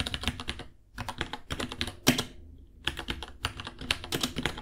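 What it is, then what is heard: Plastic mechanical keyboard. Fingertips of both hands type on a small white 66-key mechanical keyboard with Gateron Brown switches, white plastic keycaps, a hollow case and pink underglow, resting on a white desk. Bursts of quick, bright, clacky key taps come in runs separated by short pauses, each tap dying away almost instantly. One sharper clack stands out near the middle.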